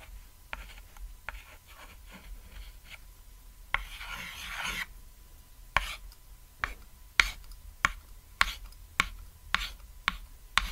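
A stick of white chalk held in the fingertips draws lines and taps dots on a flat, thin, solid cat-shaped chalkboard (painted board) lying on red fabric. Soft, scratchy strokes lead into a longer, bright rasping line, followed by crisp, dry chalk taps, with 12 short hits in all and almost no ring.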